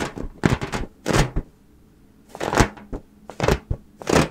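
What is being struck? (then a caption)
Inflated latex balloon. Long painted nails tap in quick bursts on the surface of a fully inflated, hollow, air-filled mint-green latex balloon held in both hands close to the mic. The taps make dull, low, drum-like thumps with a short ring, separated by a quiet pause in the middle.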